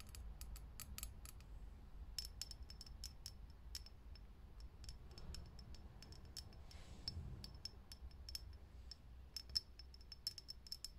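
A fingernail taps quickly and repeatedly on a lit, hollow, clear glass vintage filament light bulb. Each tap is a short, dry click with a high glassy ping that dies away almost at once, over a soft, low background rumble. The taps come in uneven bursts throughout the clip.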